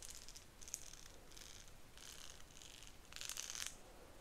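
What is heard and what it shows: Long nails scratch and flick the teeth of a solid, cream-and-pink marbled plastic wide-tooth comb held close up. The result is a series of quiet, bright, scratchy rattling bursts, with a louder, denser flurry near the end.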